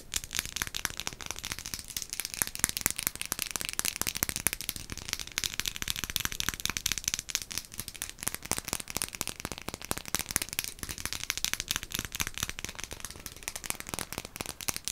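A dark glass potion bottle with a label is held close and tapped rapidly with long acrylic nails. The result is a dense, continuous stream of crisp, bright clicks and light crackles with almost no ring after each tap, and a faint low rumble underneath.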